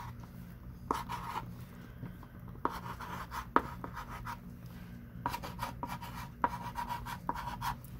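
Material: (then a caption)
Chalk. A thick pink chalk stick, held in a ringed hand, writes and underlines on a small wooden-framed chalkboard lying flat. Quiet, dry scratching strokes are broken by short, sharp taps as the chalk meets the board, with a faint squeaky tone near 1.2 kHz. A low, steady hum sits underneath.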